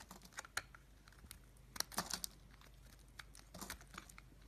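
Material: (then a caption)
Soap. A pink oval bar of solid soap, held in the hand, is scraped and shaved with a utility knife blade. Quiet, crisp, bright scratching clicks come in short bursts, with a denser cluster near the middle. Each one ends almost instantly, with no ring.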